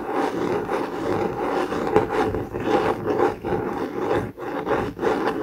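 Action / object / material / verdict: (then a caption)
scrape / hardcover notebook with laminated cardboard cover / cardboard / none. Fingertips and nails rub and scratch the laminated cardboard cover of a blue COMIX hardcover notebook lying on a desk mat. The result is a continuous, steady raspy scratching with a midrange focus and small swells and brief dips, including one short drop near the end.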